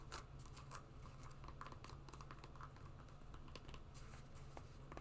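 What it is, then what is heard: Rubber and webbing sport sandal. Long nails tap and scratch the webbing straps and green rubber outsole of a rubber and webbing sport sandal. Quiet, dense bright scratches and soft clicky taps run throughout, over a steady low hum.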